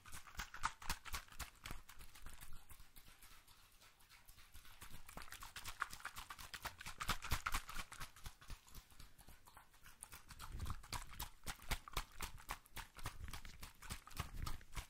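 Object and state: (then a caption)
Small glass dropper bottle. A small clear glass bottle with a dropper, partly filled with pink liquid, is held in a white-gloved hand close to the microphone and likely tapped with gloved fingertips. A fast, steady stream of short, dry clicks with bright edges rises and falls in loudness, sounding like clip-clopping hooves. A soft low thump stands out around the ten-second mark.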